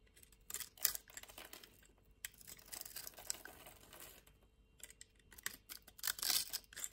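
A solid cream-white rectangular bar of soap, held in a hand with long nails, is scraped and cut with a metal knife blade. Quiet, dry, bright scratching and crisp crunching come in uneven bursts, louder near the middle and the end, with almost no low end and very short decay.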